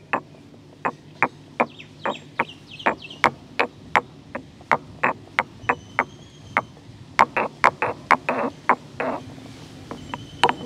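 A solid stone pestle, held in the fingers, is pounded and ground inside a hollow grey carved stone mortar. About 30 sharp, dry knocks ring briefly with a clicky tone near 1 kHz, and between them come faint scraping grinds. Later some strikes blur into short gritty grinding bursts.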